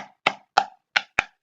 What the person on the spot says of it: i've got a hot chocolate tub because when i hit it with a wooden spoon it's a bit like a little drum